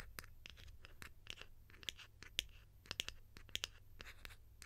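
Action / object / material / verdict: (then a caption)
tap / plastic lid / plastic / none. A white, hollow, egg-shaped plastic lid is held in both hands and scratched and tapped with long nails. Quiet, bright, dry clicks and scratchy rasps come at an irregular pace, with a high tone around 3 kHz, over a faint low hum.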